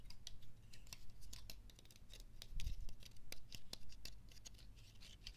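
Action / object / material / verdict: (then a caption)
scrape / pine cone / wood / none. A single dry, brown, hand-sized pine cone with rigid woody scales is held in both hands while fingertips and nails repeatedly scratch and flick its scales. The result is a quick, irregular run of short, crisp clicks and scratchy ticks with bright edges over a low, soft rumble.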